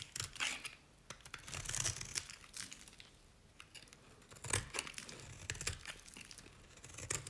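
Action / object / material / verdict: scrape / bar of soap scraped with a knife / soap / none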